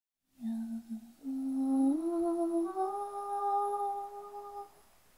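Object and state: Nothing is struck.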